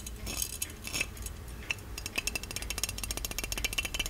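Fingertips tap and scratch the lid and spout of a small, ornate, hollow gold-plated metal genie lamp with a lid chain. The result is a busy stream of quick, bright metallic clicks and taps with short ringing pings, layered over a soft scratchy hiss and a low rumble.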